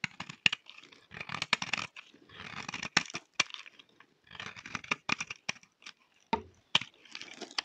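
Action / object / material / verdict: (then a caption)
scrape / laundry bar soap / soap / none. A thin remaining slab of solid, dry cream laundry bar soap is held in the hand and shaved with a utility knife blade. Bursts of bright, crisp scraping and crackling alternate with short pauses, with sharp snapping clicks between them.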